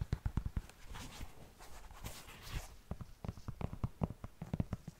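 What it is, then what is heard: Knit fabric sneaker tapped and scratched with nails. Long nails tap and scratch the upper and tongue of an empty, hollow black knit textile sneaker held close to the microphone. Quick, dull, low taps come first, then a stretch of soft, brushy scratching, then more taps in an uneven rhythm.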